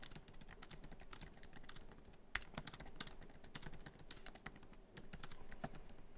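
Fingertips of both hands type quickly on a MacBook Pro keyboard, tapping many black plastic keys set in the hollow silver aluminum laptop body. A fast, steady stream of short, dry clicks and taps follows, with bright attacks, little ring, and one sharper, louder keystroke partway through.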